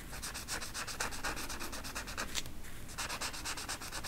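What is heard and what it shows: A yellow marker tip rubs rapidly back and forth over a flat velvet coloring poster on a stiff backing while filling in the feathers. The result is a steady run of dry, scratchy strokes with bright hiss and a low rumble underneath, pausing briefly near the middle before continuing.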